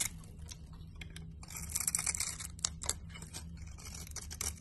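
A solid green laundry soap bar held in the hand is sliced and scraped with a blade. Dry, crisp scraping and shaving sounds with bright, hissy edges rise and fall in short bursts, louder through the middle, over a steady low hum.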